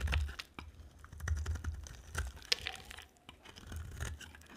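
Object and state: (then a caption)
Dry soap bar being carved. A utility knife blade scrapes and carves the surface of a solid green and white striped dry soap bar held in hand. Short, dry crunching and crackling cuts come at an irregular pace, with bright scraping edges over soft low thumps. Each cut stops almost instantly with no ring.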